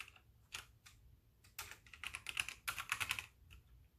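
Both hands type continuously with their fingertips on a full-size white backlit mechanical keyboard with plastic keycaps, without using the mouse. Sharp, bright plastic clicks come in scattered taps at first, then build into a dense, faster burst of keystrokes before thinning out again. Each click is crisp and dies away almost instantly.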